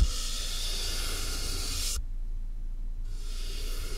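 A soft makeup brush is rubbed and brushed across the top of a medium, closed, hollow cardboard box with a tape seam and a mic inside. It makes a steady, bright brushing hiss over a deep, hollow low rumble. The bright hiss drops away for about a second midway, leaving only the low rumble, then returns.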